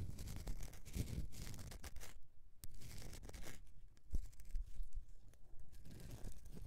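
Fingernails scratch and carve the top surface of a solid bar of soap resting on a mesh mat. Dry, rasping scrapes come in irregular bursts with a few quieter gaps, and occasional sharper clicks stand out.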